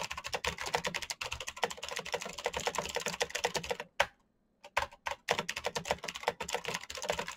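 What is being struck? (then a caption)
Plastic mechanical keyboard. Both hands type rapidly with their fingertips on a black plastic mechanical keyboard with blue backlight, making a dense stream of crisp, bright clacks. The typing breaks off for a moment of near silence just after the halfway point, then a few scattered keystrokes lead back into steady fast typing.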